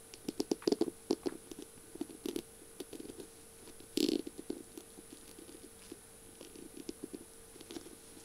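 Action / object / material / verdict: tap / pen barrel covered in beads and small mirror tiles / beads, glass / none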